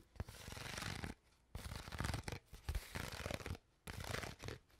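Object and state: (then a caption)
Empty plastic water bottle. An empty, crushed, hollow clear PET water bottle is tapped and crinkled with long nails. Dense bursts of crackling plastic with soft, low thumps come in several stretches, separated by brief quiet pauses. Bright crinkles sit over a dull, hollow body.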